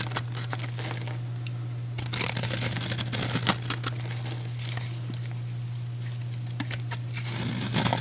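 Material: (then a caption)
Soap. A metal utility blade scores a solid, rectangular, hand-sized white soap bar into a grid and shaves off cubes. Crisp, crinkly scraping and crackling cuts come in bursts over a steady low hum, growing busier in the middle and again at the end with bright, sharp snaps.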